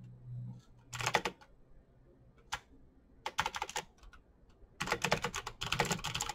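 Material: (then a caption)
Plastic. Both hands type with their fingertips on a backlit plastic Razer BlackWidow mechanical keyboard with clicky green switches, pressing the keycaps. Bursts of sharp, bright clicks come in quick runs separated by short pauses, with a faint low hum underneath.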